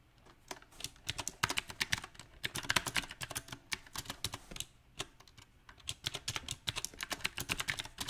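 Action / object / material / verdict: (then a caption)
tap / mechanical keyboard with plastic keycaps / plastic / none. Fingertips type quickly on a mechanical keyboard with round plastic typewriter-style keycaps set on a silver metal frame. Bright, sharp key clicks come in uneven bursts, with a quieter, sparser stretch in the middle. Each tap dies away almost instantly.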